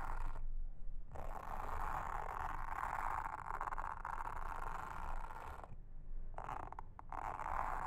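A pink mascara spoolie brush, held in a hand with long red nails, brushes and scratches across a round blue silicone trivet mat with a honeycomb texture, lying flat on a table. It makes a steady, soft, raspy scraping hiss centred in the mid range, with a low rumble underneath. The strokes break off in short pauses near the start and again before the end.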